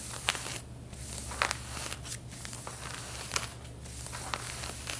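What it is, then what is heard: Denim jeans being scratched. Long painted fingernails scratch over the back pockets and seams of worn, stretched light-blue denim jeans, making a bright, dry rasping. Sharper scratches stand out now and then over a steady low hum.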